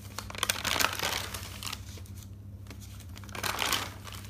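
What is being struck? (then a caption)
Thick paper notebook. Fingertips with dark nails lift and flip the pages of an open, thick paper notebook, making bright crinkling rustles. A dense burst of page turning is followed by a quieter pause and then a second flurry of rustling, over a steady low hum.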